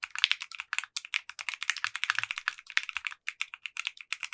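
A compact 60% mechanical keyboard with clear pink polycarbonate keycaps and a translucent case is typed on with the fingertips of both hands. There are 32 quick, crisp keystrokes, each a bright, clacky tap with almost no low end. The taps fall in an uneven, steady rhythm, and each dies away almost instantly.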